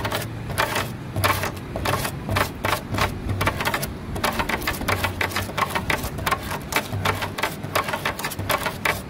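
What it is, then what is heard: Weathered wooden table. Long fingernails on both hands tap rapidly on a grey, weathered solid wood slat tabletop. The result is a fast, steady patter of short, dry clicks with a bright top and a faint low body under them.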